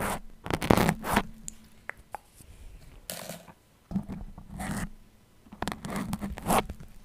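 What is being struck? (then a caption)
Foam microphone windscreen with metal pins. Fingers with long nails pull and wiggle many metal pins stuck in a red foam microphone windscreen, scraping across the foam surface. It produces dense, crunchy, zipper-like scratching bursts separated by brief quiet gaps, with a faint low tone around 200 Hz underneath.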